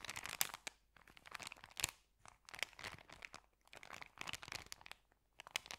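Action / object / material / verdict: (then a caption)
scrape / paper sandwich bag / paper / none. Hands squeeze, bend and crinkle a folded, empty white paper sandwich bag. Dense, bright crackling and crunching comes in bursts with brief quiet gaps between them. The sound is quiet overall, with sharp crisp snaps and almost no low end.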